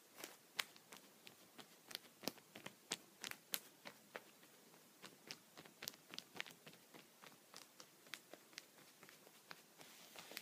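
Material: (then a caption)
Plastic. A yellow-and-black wooden pencil, held upright, repeatedly taps and pokes its tip against a thin, clear, punched plastic sheet protector lying flat on a surface. About 28 quiet, sharp, bright ticks and crinkly clicks come at an irregular pace, each dying away almost instantly, with almost no low end.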